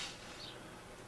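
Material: Nothing is struck.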